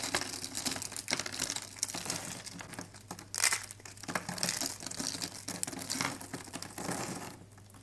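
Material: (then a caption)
Soap. Fingers with long pink nails pinch, crush and rub handfuls of brittle, teal-blue thin dry soap sheets and small shards. A dense, bright crackling and crunching runs throughout, with louder crisp bursts near the middle before it thins and softens at the end.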